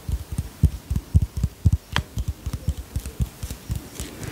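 A small white plastic bottle, held sideways, is tapped with long fingernails in a quick, slightly uneven run of about two taps per second. Each tap is a short, soft, low thump that dies away almost at once, with an occasional brighter click.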